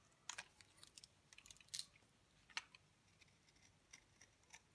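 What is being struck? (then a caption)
Bar soap scraped with a blade. A utility knife blade scrapes flakes off the face of a solid, dry, pale green bar of soap held in the palm. It makes quiet, dry, crisp scratches and crackles, all bright and high with almost no low end. They come in short, uneven bursts that stop instantly with no ring.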